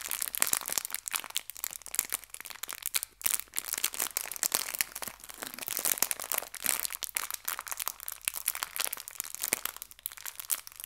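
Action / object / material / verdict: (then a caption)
scrape / thin clear plastic bag holding hair ties / plastic / none. A small clear plastic bag filled with hair ties is squeezed and crinkled by fingertips with long nails. The result is a steady stream of bright, crisp crinkles and sharp little crackles with almost no low end, rising and falling in loudness for about eleven seconds.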